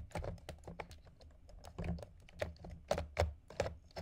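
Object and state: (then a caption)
Ice balls. Nails and fingertips tap quickly and repeatedly on two solid round ice balls resting on a container of ice cubes. The result is a rapid, irregular stream of short, dull clicks with a low, thuddy body and almost no ring after each tap.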